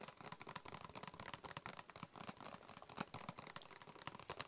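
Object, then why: Closed cardboard box. A closed, hollow, white cube-shaped cardboard box is held in the hands and tapped quickly with the fingertips. The result is a rapid, continuous run of soft, dry taps with a papery, crinkly texture and a bright top. Each tap dies away almost instantly.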